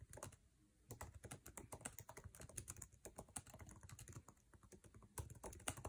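Fingertips of both hands type fast on the backlit, low-profile scissor-switch keyboard with plastic keycaps of an aluminum MacBook Air resting on a table. A dense, rapid stream of short, dry key taps with a soft low thud beneath bright clicky tops, each tap dying away almost instantly, with a few slightly harder strikes near the end.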